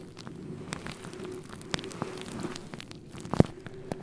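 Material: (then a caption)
Synthetic fur. Fingertips brush and scratch across a synthetic faux fur microphone windscreen, producing a low, steady, muffled rustling with scattered soft crackles and ticks. A louder thump stands out near the end.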